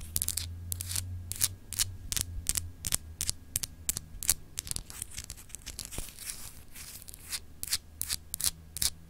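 Long acrylic nail tips scratch across a small solid clear glass globe paperweight with etched continents. The result is a rapid, uneven run of short, bright, rasping scratch strokes over a faint low hum.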